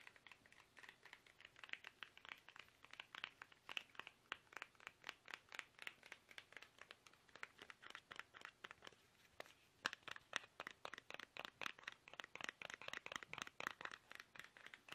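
Fingertips tap fast on a small, soft, hollow plastic toothpaste tube held upright in both hands. The result is a rapid, uneven stream of short, dry, hollow clicks with a bright crinkly edge, centered around 1.7 kHz, with almost no low end and each tap dying away almost instantly.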